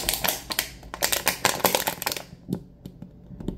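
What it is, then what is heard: Plastic water bottle. Fingertips and nails tap the white cap and the sides of a small clear plastic water bottle with a label, partly filled with water. A quick flurry of crisp, bright, clicky taps fills the first two seconds or so. It thins out into a few slower, softer taps toward the end.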